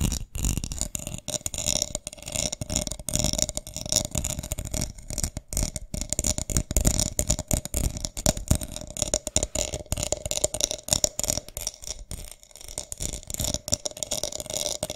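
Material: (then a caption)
Plastic beads. Long nails scratch and tap across a small, hollow round box with its lid on, covered in white beads and flower gems. The result is a dense, continuous stream of rapid, bright beady clicks and scratchy rattling, with a faint steady ring around 600 Hz beneath it.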